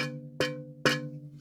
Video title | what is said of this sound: Storage Shed Clean-out Part 19 - Unboxing an Old Texaco Oil Box for some Interesting Shop Stock. | If it's not cracked, you get a really nice, almost a bell-like ring